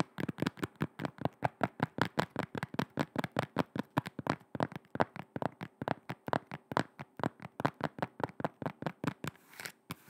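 Long red nails rapidly tap and scratch the grey-black rubber sole of a black shoe, which is held sole-side toward the microphone. About fifty short, dry, muffled taps come in a fast, uneven rhythm with almost no ring. A brief, brighter scratching sound follows near the end.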